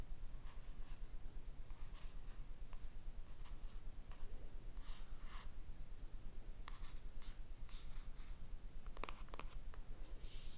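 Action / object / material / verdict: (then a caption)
scrape / cardboard eyeshadow palette / cardboard / none. Long red nails slowly rub and scratch across the printed rose-and-face cover of a closed, flat rectangular cardboard eyeshadow palette. The result is a quiet, steady papery scratching with soft brushing strokes and only a few sharp onsets, over a low background rumble.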